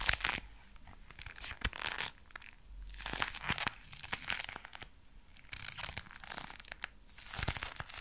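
A pair of dark brown leather gloves worn on both hands is clenched and flexed close to a microphone. The leather creaks and crinkles in bright, crackling bursts that rise and fall in waves, with sharp snaps between them.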